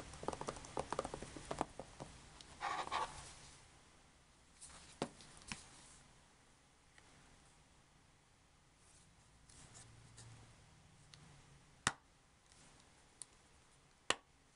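A hollow, thin, closed green plastic DVD-style Xbox 360 game case for Shrek the Third is handled and tapped with long painted nails on its front, back and spine. A busy flurry of light, bright clicks and scratchy handling fills the first few seconds, then gives way to quiet stretches broken by sparse, sharp plastic taps. Each tap dies away almost instantly, and the last two are the crispest.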